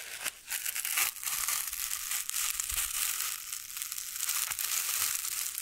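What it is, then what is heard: Foam cylinder. A soft, spongy, hand-sized white foam cylinder is held close to the microphones and squeezed and rubbed with fingertips and long nails. It gives a steady stream of bright, airy crushing and crinkling textures with almost no low end. The sound swells and dips slightly without any clear separate strikes.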